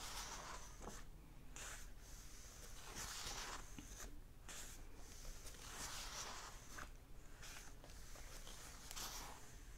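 Fingertips and nails rub and scratch across the paper pages of an open hardback book. Bright, dry scratching swells come and go in short strokes over a steady, quiet low hum.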